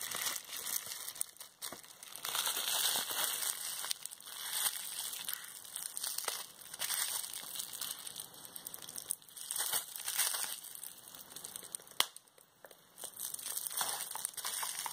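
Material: Plastic.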